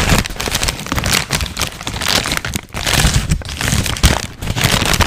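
A large, thin, wrinkled white paper sheet is shaken and crinkled with the hands and fingertips. The result is a dense, continuous crackling and crunching with bright, hissy texture over a low rumbling undertone. Loudness swells and dips irregularly, with sharper bursts near the middle and end.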